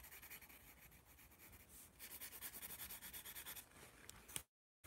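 A yellow wooden pencil drags across a white paper spiral sketchbook held in the hand while writing and drawing. Its soft, bright scratching rises into a quick run of rhythmic strokes in the middle. A sharp tick follows, then a brief silence before the end.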